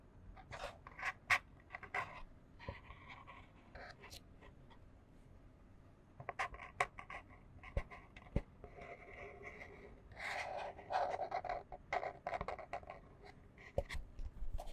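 A small, empty, hollow white printed cardboard box held in both hands is scratched with long fingernails. Bursts of dry, papery scratching alternate with sharp clicks and quieter stretches. The scratching grows denser and louder toward the end.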